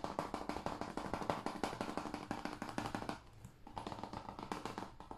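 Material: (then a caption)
Plastic. A hand-sized, hollow blue plastic PS5 game case for Call of Duty Cold War, with a printed paper insert, is held in the hands and tapped with the fingertips and nails on its face and edge. It makes a rapid run of short, dry, hollow clicks with a midrange knock around 590 Hz. A brief quieter pause comes just past the three-second mark before the fast tapping resumes.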